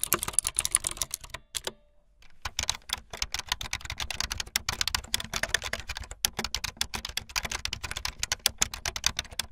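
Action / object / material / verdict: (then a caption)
tap / plastic computer keyboard / plastic / none. Fingertips with long light-blue nails type fast on a full-size keyboard with white, blue and yellow plastic keycaps and a blue backlit frame. Dense, bright, clicky plastic keystrokes rattle out in quick bursts, each sharp and dry with almost no ring. There is a brief pause near the two-second mark before the fast typing resumes.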